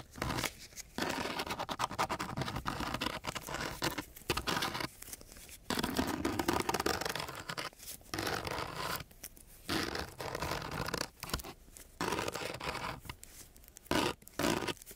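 A metal key is dragged across the gritty surface of a flat, coarse-grit sandpaper sheet, scratching it. The result is a series of harsh, broadband rasping strokes separated by brief pauses, each a dry, crackly grind with a bright, hissy edge.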